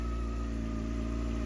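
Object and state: Nothing is struck.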